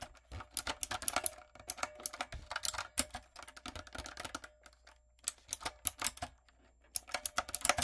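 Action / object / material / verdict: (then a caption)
tap / mechanical keyboard with round plastic keycaps / plastic / none. Fingertips and long coffin nails type rapidly on a typewriter-style backlit mechanical keyboard with round brown plastic keycaps on a dark frame. Bright, sharp clicks and clacks come in quick bursts separated by short pauses, each tap dying away almost instantly over a faint low hum.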